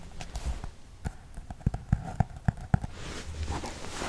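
Fingertips and nails scratch and tap across the textured cover of a small, solid hardcover book with a worn brown cover printed with alphabet letters, held in both hands. Soft, uneven scratching gives way to a run of sharp, dull, low taps in the middle. It ends in a brighter, hissing rub across the cover.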